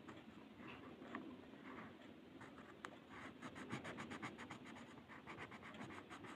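A blue colored pencil, held in the fingers, is scratched and shaded across a flat white paper mandala coloring sheet lying on a table. Quiet, dry scratching strokes repeat quickly and somewhat unevenly, with a bright papery hiss. The strokes grow denser and more rhythmic in the second half.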